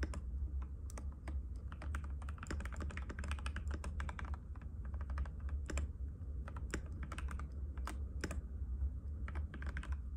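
Fingertips of both hands type continuously in rapid taps on a compact cream-white mechanical keyboard with plastic keycaps and a hollow case, resting on a glass table. A dense, steady stream of short, sharp clicks flashes bright above a constant low hum, each tap dying away almost at once.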